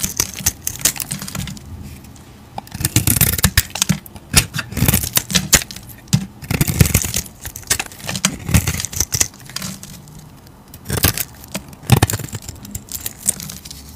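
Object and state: Soap bar being carved.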